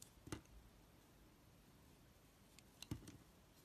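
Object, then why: Black soap bar cut with a knife blade. A utility knife blade scrapes and chips the surface of a solid, oval black soap bar held in the palm. Two short bursts of dull, low scraping with bright crisp clicks stand out, one near the start and one near the end, with a few smaller ticks beside them. Quiet stillness fills the gap between them.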